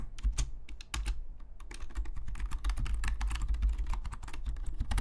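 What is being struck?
Plastic membrane computer keyboard.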